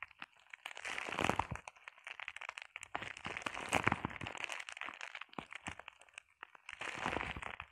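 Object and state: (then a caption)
Plastic bubble wrap. Long painted nails scratch and tap across a flat sheet of clear plastic bubble wrap. Dense bursts of crinkly, crackling scratches swell and fade between quieter stretches, punctuated by sharp, dry clicks that stop almost instantly. The texture sits mostly in the mids with a bright, hissy edge and little low end.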